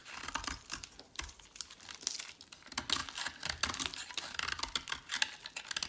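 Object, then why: Bar of soap cut with a metal blade. A solid teal bar of soap held in the hand is shaved and carved with a metal utility blade. A rapid run of short, crisp, bright scraping and cutting strokes follows, with a dry crinkly texture and almost no low end. Each cut ends instantly with no ring.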